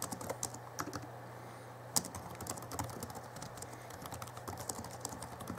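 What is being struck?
Plastic laptop keyboard.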